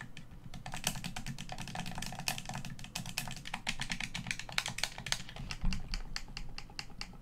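Fingers tap the hollow shell of a black plastic Xbox One controller and click its buttons and sticks in a rapid, uneven stream. The short, bright clicks sit over a steady low hum throughout.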